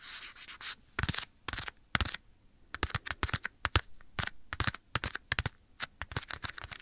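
Bare fingertips quickly rub and scratch a black leather glove worn on a hand near the right ear of a microphone. A soft, continuous rubbing opens the clip, followed by rapid, dry, bright scratchy bursts with no ring.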